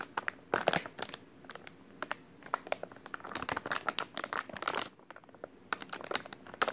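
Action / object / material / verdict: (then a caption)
scrape / soft plastic wet wipes pack / soft plastic / none. A full, white soft-plastic wet wipes package is squeezed and crinkled with the fingers. Dense, irregular crackles and sharp, bright snaps come in quick bursts with almost no low end, and there is a brief quieter stretch near the five-second mark.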